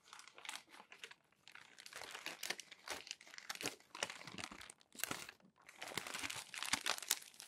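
Fingertips flip over the wrinkled pages of a crumpled glossy paper magazine. Dry, bright crinkling and crackling come in dense bursts with brief quiet gaps between them. The sound is soft and almost entirely high-pitched, with no low body.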